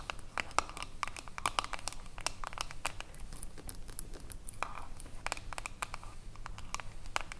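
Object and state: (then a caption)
Metal jar lid. Long acrylic nails tap and scratch along the ridged edge of a silver metal screw lid on a small, full glass cream jar. Rapid, sharp, bright clicks come in quick irregular bursts, mixed with dry, crinkly scratching. Each tap dies away almost instantly over a quiet, low background hum.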